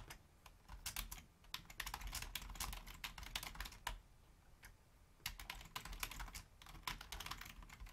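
A full-size black plastic Logitech membrane keyboard with a hollow housing is typed on rapidly with the long fingernails and fingertips of both hands. Quick, bright plastic clicks and taps run in dense bursts over a soft low rumble, with a brief lull near the middle before the typing resumes.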